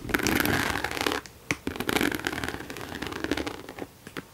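Long nails scratch and tap the side and front of a hollow mauve croc-embossed leather handbag held close to the mic. A dense, dry scraping texture with a low hollow body and bright edges fills the first second, then a sharp tap rings out. Softer scratches and light taps continue and thin out toward the end.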